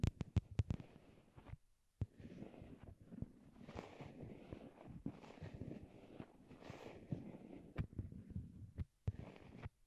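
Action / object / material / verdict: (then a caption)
tap / small plastic wired earbuds / plastic / none. Long glittery nail tips tap on a pair of small white hollow plastic wired Apple earbuds, which serve as the microphones and rest on a cork board. A few sharp, quick taps open and close the clip. Between them is a dense stretch of muffled, bassy thumping and rumbling that sounds deep and heartbeat-like through the earbud mics.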